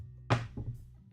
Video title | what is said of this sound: 🔴LIVE Bridal Millinery - Make a bridal headband with birdcage veil - All about millinery veils | it's a slightly slightly lighter sound